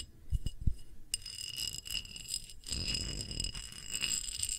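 A round, thick, clear pressed-glass dish is held edge-on while long nails tap and scratch its rim and feet. A few soft, dull taps open the clip, then bright, thin glassy ringing tones sustain high above a steady scratchy rustle. Occasional sharper clicks sound throughout.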